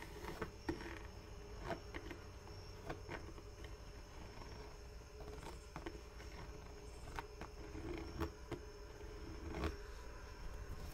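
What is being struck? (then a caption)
Smooth leather boot. A single black smooth leather Chelsea boot is held near the mic while long nails tap and scratch its leather upper. Soft, quiet scratching runs throughout, broken by scattered sharp taps that stand out from the low, steady background.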